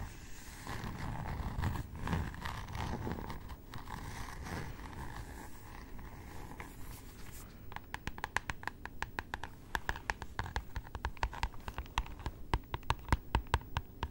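Long nails scratch across the glossy floral cardboard cover of a solid hardcover notebook held close, making a soft, continuous scraping rustle for the first half. The scratching then gives way to a quick series of sharp, dry taps on the cover and edges, each clicking briefly with almost no ring.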